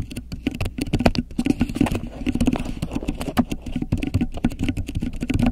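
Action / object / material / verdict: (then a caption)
scrape / beeswax-coated cotton wrap / waxed cotton / none. A thin, flexible grey polka-dot beeswax-coated cotton wrap draped over the top of a microphone is scratched, crinkled and pressed with long acrylic nails and fingertips. The result is a dense, rapid patter of short, dry clicks and crackles with a close, low-heavy body and little high-end sparkle, each tap dying away almost at once.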